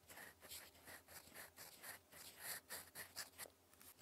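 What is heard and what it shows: A gold metal fountain pen nib, held in the fingers, scratches across a flat sheet of lined cream writing paper while writing cursive. The result is a quiet, bright, scratchy sound in quick repeated strokes, each with a brief rasp around 2 kHz and a hiss reaching high.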